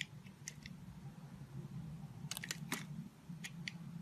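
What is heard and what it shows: A utility knife blade scrapes and shaves the surface of a solid, translucent orange soap disk shaped like a citrus slice, held in the palm. Short, crisp, bright scraping strokes come in scattered bursts, with a cluster in the middle of the clip, over a steady low hum.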